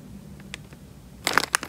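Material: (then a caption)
Plastic film. Fingers squeeze and crinkle the film of a small, clear, thin plastic bag full of water. After a second of faint, quiet rustling, a cluster of sharp, bright crinkling crackles bursts out near the end and then stops.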